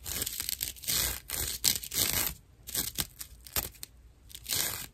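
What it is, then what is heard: Dry natural loofah scratched. A dry natural loofah pad with a cord is scratched with long nails, giving bursts of rough, bright scratching and crinkling. The strokes come in uneven clusters with short quiet gaps between them.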